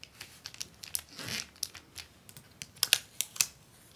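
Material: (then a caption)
Plastic film. A large flat sheet of clear acetate book-cover film on a white paper liner lies on a wooden desk while hands with long painted nails press, rub and scratch across it. The result is bright, dry crinkling and scratching with short, sharp ticks scattered unevenly through the clip, and a longer rustling swell near the middle.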